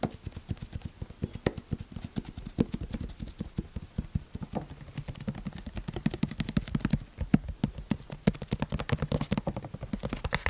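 A large, clear PET plastic bottle of sunflower oil, partly full, is held in the hands and tapped rhythmically with the fingertips. The result is a rapid, continuous run of short, dry, hollow taps, mostly low in pitch with a dull thud.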